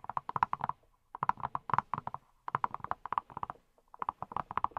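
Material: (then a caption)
Silicone. A hand-sized yellow silicone pineapple-shaped brush, which appears hollow, is tapped with fingertips wearing silicone rubber pads. About 28 quick, dull taps come in four rapid bursts separated by short pauses. Each tap is short with a hollow, mid-pitched knock around 1 kHz and almost no ring.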